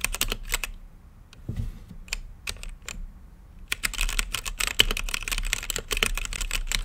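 Fingertips type on a mechanical keyboard with plastic keycaps and a clear acrylic lit case, producing sharp, bright clacks over a low thump. A quick burst of keystrokes gives way to a sparse stretch of scattered presses, then a fast, dense run of typing that fills the rest of the clip.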